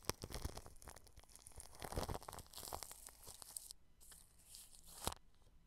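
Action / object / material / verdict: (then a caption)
scrape / plastic cling film stretched over a microphone / plastic film / none. A paintbrush strokes clear plastic cling film wrapped over a microphone grille, producing a quiet, dense crinkling and rustling texture with bright hiss and sharp crackles. The brushing runs in uneven bursts, briefly thins out before 4 seconds, then picks back up with a loud crackle near the end.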